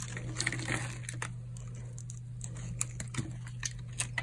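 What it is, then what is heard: Dry soap bar scraped. A metal blade scrapes cubes and flakes off a solid white bar of hard, dried soap held in the palm. Quick, dry, bright scraping clicks and crunches come in scattered bursts. They sit over a steady low hum.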